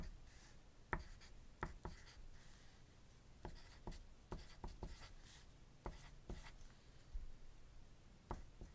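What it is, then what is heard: Pencil writing on paper. A wooden graphite pencil writes on a thin white paper sheet resting on a desk, making quiet, dry scratching strokes over a low, dull background. About 13 short, sharp taps and scrapes stand out between the softer scratching, each dying away almost at once.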